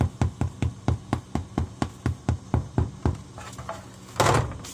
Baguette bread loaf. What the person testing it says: if you do this and it's hollow, it's good. That sounds hollow to me.